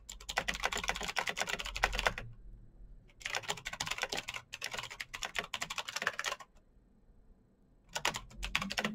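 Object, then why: Mechanical keyboard with plastic keycaps. Fingertips type fast on a black Razer BlackWidow mechanical keyboard with plastic keycaps on clicky green switches, producing rapid, bright, sharp clicks that ring out almost instantly. The typing comes in bursts, with quiet pauses around 2 to 3 seconds and 6.5 to 8 seconds.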